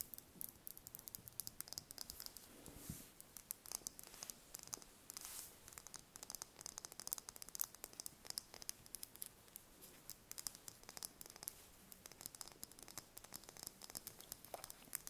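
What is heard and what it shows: Long painted fingernails tap and scratch a small, whole brown hen's egg held in the hands. Quiet, rapid, bright clicks and scratchy rasps continue throughout, each tap short and dry with almost no ring and very little low end.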